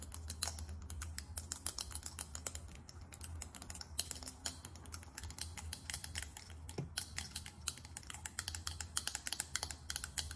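Long acrylic nails tap fast on a small faceted glass perfume bottle with a chrome cap. Rapid, bright, clicky taps come in quick bursts with almost no ring, over a steady low hum.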